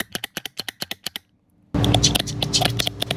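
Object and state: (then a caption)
Healthy fuel injector disc spring pack, rattles freely. A steel disc-spring pack that holds the fuel injector valve on a MAN B&W engine cylinder cover is shaken by hand, giving a quick series of sharp, bright metallic rattling clicks. After a brief silence, louder and denser rattling follows over a steady low hum. This rattle is the normal sound of a healthy spring pack, expected both when new and when dismantled for inspection.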